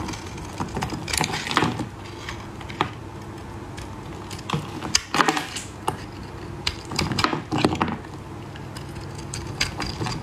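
A solid green oval bar of soap, held in a gloved hand, is scraped with a metal blade into powdery shavings. Repeated short, crisp scraping and crumbling strokes come in bursts over a steady low hum, with bright, rasping texture on each pass.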